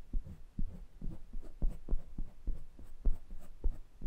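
Fingertips rub and tap the metal mesh grilles and metal rims of two small pencil condenser microphones. About nine soft, deep, thumping taps land roughly every half second at an uneven pace over a steady low scratching rub. Each tap dies away almost instantly.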